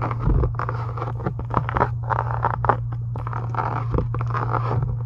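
Long acrylic nails scratch and tap near the top of a closed, pink embossed faux leather journal cover resting on a desk. Quick, dry taps and scratchy strokes arrive in dense bursts over a steady low hum, with the clicks and scrapes centered in the midrange and no bright top end.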